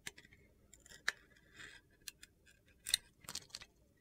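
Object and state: Bar of soap being carved.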